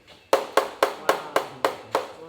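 An eight-year-old wheel of cheese is tapped seven times to compare its sound with the younger wheels. Each tap is a short, dry knock centered in the mid range around 540 Hz, dying away almost at once.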